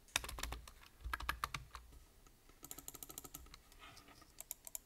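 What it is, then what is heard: Plastic computer keyboard. Fingertips type rapidly on a full-size black plastic computer keyboard with a hollow body and plastic keys, producing sharp, bright clicks with a low thud beneath. A quick burst of taps is followed by a brief lull around the two-second mark, then a steady run of lighter key presses ending in a few louder taps.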